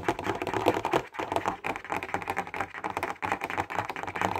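Fingertips and nails tap fast on a clear plastic box full of highlighters, making a dense run of quick, dry clicks and ticks with a light hollow plastic knock. The taps come so close together that they blur into a steady chatter, with no ring after each hit.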